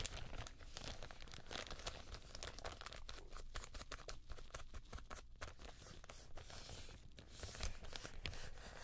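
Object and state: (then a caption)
Thin plastic bag crumpled. Gloved fingers crumple and rub the film of a thin, empty, white translucent plastic bag held up close. Dense, bright crinkling and crackling continue for about nine seconds over a steady low rumble, with brief louder rustles near the start and end.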